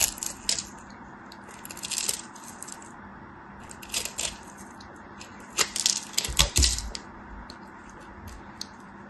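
A metal craft knife cuts and scrapes pieces off a solid white soap bar, now partly carved and held in hand. Bright, crisp scraping and crunching bursts come in several short clusters, with the loudest toward the end, over a low, steady hum.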